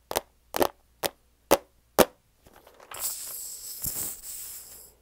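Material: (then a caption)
Plastic. A medium clear plastic tub with a lid and a paper label, filled with cat treats, is held in both hands and tapped on its sides with the fingernails. Five sharp, hollow clicks ring out at an even pace. They are followed by a softer scratch, then about two seconds of continuous bright, hissing rustle.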